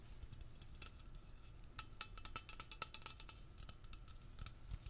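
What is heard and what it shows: A hollow Blue Coral aerosol can with a metal cylindrical body and blue plastic cap is held in the hand and fast-tapped with fingertips and nails on its body and label. The result is a rapid, irregular stream of short, bright, clicky ticks that die away almost instantly, over a low, steady rumble.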